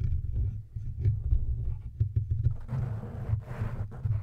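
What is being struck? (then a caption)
Metal microphone body. Fingertips and nails of both hands repeatedly tap and scratch the hollow silver metal body of a large studio microphone. The result is a dense run of deep, muffled thumps and rubbing centered around 80 Hz, with a rougher scratching texture rising from about 2.7 seconds.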